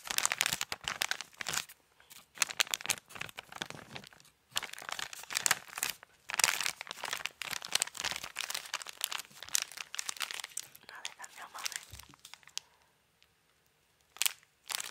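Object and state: Gift-wrapped cardboard box.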